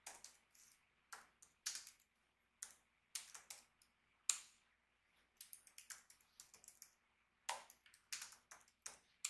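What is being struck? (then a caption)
Plastic laptop keyboard. Both hands tap rapidly with their fingertips on the backlit plastic keyboard of an Acer Nitro 5 laptop with a hollow body. Quick, bright, dry clicks come in irregular bursts separated by short silences, with almost no low end and each tap dying away at once.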